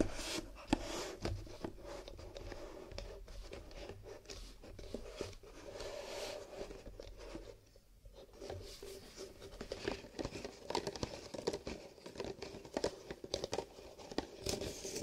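About eight empty brown paper coffee cups, nested in a hollow, lightweight horizontal stack, are held on a wooden table and tapped along their rims and sides with bare fingertips in fingerless gloves. The result is a quiet, steady run of soft, dull, hollow taps, mixed with some scratching, each tap dying away almost at once, with a brief lull near the middle.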